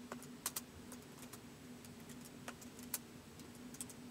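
Fingertips type slowly on a white plastic laptop keyboard, giving sparse, short, bright key clicks with irregular gaps between them. A steady low hum sits underneath the quiet clicks.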